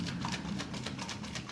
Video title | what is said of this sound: How to Make Butter | that sloshing sound that means that the butter is gonna start working it's gonna start forming and what you're hearing is the buttermilk separating